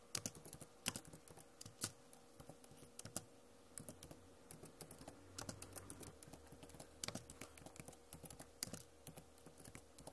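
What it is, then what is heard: Plastic laptop keyboard. Long nails tap on the plastic keycaps of a backlit Acer laptop keyboard, making quick, bright, clicky taps in irregular bursts with no ring after each. A faint steady hum sits underneath the tapping.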